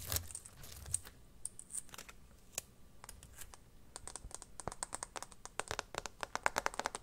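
Fingertips and nails tap and scratch the back of an empty, hollow, transparent plastic phone case with teal glitter as it lies on a blanket. Quick, dry clicks and light scratches come in clusters, with a soft crinkly rustle at the start. The taps grow denser and brighter toward the end.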